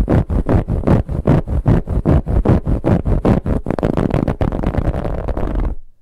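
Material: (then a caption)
Fabric. Fingernails scratch a soft, finely ribbed brown fabric pillow in quick, rhythmic strokes, about two dozen rough, low-heavy rasps. The strokes come faster and closer together in the last couple of seconds before stopping abruptly.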